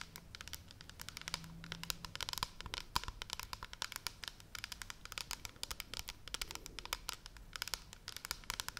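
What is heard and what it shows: A large pale blue plastic pump shampoo bottle, hollow and held upright in both hands, is tapped and scratched with long red nails. Dense, rapid, dry clicks and scratchy crinkling sounds, bright and short with almost no ring, run steadily over a faint low hum.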